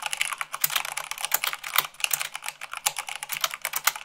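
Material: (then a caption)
Plastic. Rapid typing with fingertips and long nails on a white plastic mechanical keyboard, making a dense run of bright, sharp clicks and clacks with very short decay. The keystrokes come quickly and unevenly, about 26 distinct hits, with almost no low-end thump.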